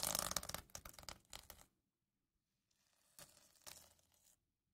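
A hand-sized notebook with a sparkly cover of reversible plastic sequins is scratched and rubbed with fingertips and nails, flipping the sequins. A dense, bright crackling burst fades out over about a second and a half, followed by a pause and then quieter scratching with two sharper flicks.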